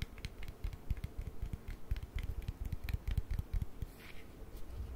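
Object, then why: Small plastic cream jar. Long nails tap and click on the side and lid of a small white plastic cream jar. The result is a quiet, irregular patter of quick, dull taps with soft thumpy lows, short bright clicks, and almost no ring, over a faint low hum.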